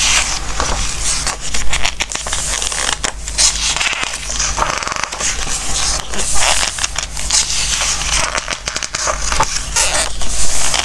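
Fingertips rub the glossy coated pages of a softcover Christmas book and flip a page over, making crisp, bright paper rustles, scratchy slides and crackles. The sounds come in soft surges over a steady low hum.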